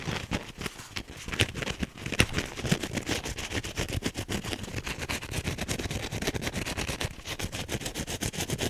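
A teal wavy foam sponge with a green scrub backing is squeezed and scratched fast with the fingernails of both hands. The result is a dense, continuous run of quick, dry scratching and crackling strokes, with low rumbling squeezes underneath and bright rasping edges on top.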